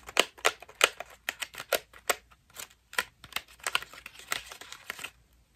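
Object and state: Foam bath loofah.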